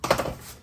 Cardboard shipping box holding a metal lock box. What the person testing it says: give it a shake. You can hear there's almost no motion.